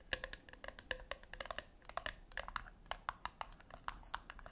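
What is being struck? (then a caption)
Small round metal tin tapped with fingernails. Long acrylic nails tap rapidly on the flat top of a small round brushed-silver metal tin resting on a white cloth. The result is a quick, uneven stream of short, bright clicks with a faint metallic ping around 1.7 kHz. Each click dies away almost at once.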